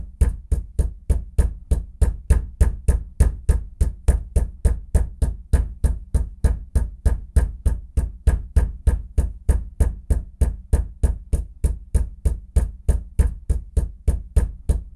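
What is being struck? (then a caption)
Bathroom floor. A fist knocks on a bathroom floor in a steady, fast series of 50 short, dull, low thuds over 15 seconds, about three per second. Each knock dies away almost at once.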